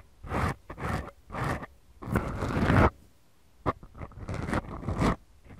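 Long glittery manicured nails of both hands scratch and rub two small, soft, porous black foam windscreens on the mic capsules of a Tascam DR-40X recorder. Deep, rough, crackling rasps come in uneven bursts, with slow strokes first, a short silence, then quicker, choppier scratches.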